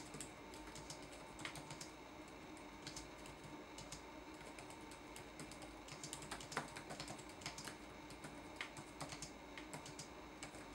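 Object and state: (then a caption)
Plastic laptop keyboard typing. Fingertips of both hands type on a red-backlit laptop keyboard with plastic keycaps, giving a steady run of quiet, bright, clicky taps. The taps are short and quickly damped, over a low, constant background hum.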